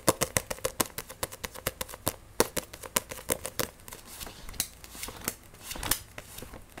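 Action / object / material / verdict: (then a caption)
tap / paperback book with glossy card cover / paper / none. Fingernails rapidly tap and scratch the glossy cover of a solid paperback Blue Exorcist manga. Quick, sharp, dry clicks come first, each dying almost at once, then give way to looser, bright scratching with a faint hollow ring near 530 Hz.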